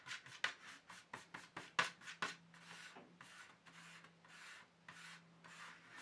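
Fingertips rub and lightly scratch the base and rim of an empty black plastic paint tube tray. About ten quick, dry scratching strokes come first, then slower, longer swishing rubs with a faint steady low hum underneath.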